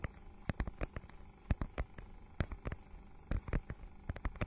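Long nails scratch and tap across a notebook-sized book with a holographic, scale-textured plastic cover. The result is a quiet, irregular run of short, dry scrapes and clicks, with most of the energy in a low, soft thump and only a faint bright edge.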